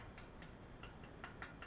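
Six light taps on the stock of a LuthAR MBA-1 rifle stock, believed to be a fiber-reinforced nylon polymer, give short ticks with a brief ring around 1.4 kHz over a low background hum. The stock sounds very stiff and very hard, and a fingernail leaves no mark on it.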